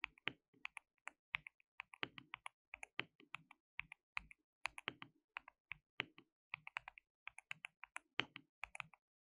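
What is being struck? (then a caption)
Plastic mechanical keyboard. Fingertips of both hands type on a compact white plastic mechanical keyboard with pale keycaps and a hollow case, resting on a dark desk mat. About 45 quick, bright, clacky taps come in an uneven typing rhythm, each dying away almost instantly, with a faint hollow thock beneath the clicks.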